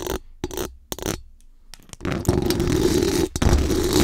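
Very long acrylic nails scratch fast and aggressively across the hollow metal mesh dome grille of a large condenser microphone. Three short scratching bursts with quiet gaps are followed by a long, continuous, dense scrape with one brief break near the end. The scratching is a bright, raspy rasp over a heavy, boomy low rumble.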